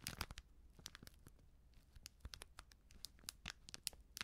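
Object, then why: Foil-plastic sachet of baking soda. A small, sealed, filled plastic-foil baking soda sachet is crinkled and scratched with long nails. Quick, dry, bright crackles and scratchy bursts come in uneven clusters over a low, quiet background rumble.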